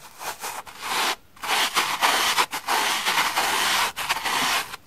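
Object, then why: Cellulose sponge rubbed with a bristle brush. A pink brush with white bristles is rubbed and brushed across the holey surface of a large, solid, flat, green porous cellulose sponge resting on a wooden table. It makes dense, bright, scratchy brushing strokes separated by brief pauses, with almost no low end.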